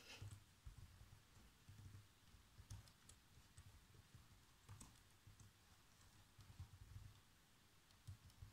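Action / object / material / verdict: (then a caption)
tap / plastic laptop keyboard / plastic / none. Fingertips with short nails type fast across the keys of a black plastic chiclet laptop keyboard. The result is a quiet, steady run of soft, low tapping thuds with faint bright clicks that stop quickly, with a few keystrokes landing harder than the rest.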